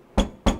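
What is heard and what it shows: Two hand knocks on the plain, unperforated steel side panel of a COX A3 Symmetry tempered-glass PC case each give a short, low thump with a faint squeaky chirp, like squeaky shoes. The noise is a fault: the case's bottom panel shifts on its rubber gasket, and the squeak stops when the bottom is held down so it can't move.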